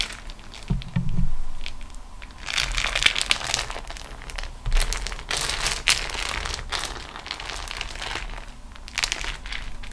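Fingertips and nails press and roll the rolled fold of a beeswax-coated cotton food wrap sheet lying on a table. The result is dense, irregular crinkling and crunching with bright, sharp crackles and a few soft low thumps, continuing steadily throughout the clip.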